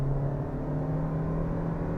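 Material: Nothing is struck.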